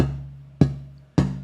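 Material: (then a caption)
Spruce. A piece of Italian spruce guitar-top tonewood is held at its 0-2/2-0 node point, where the wood flexes, and tapped three times. Each tap gives a clear, low ringing tone around 140 Hz that sustains and fades between strikes. Held at this node the wood rings clearly; held anywhere else it would sound dead.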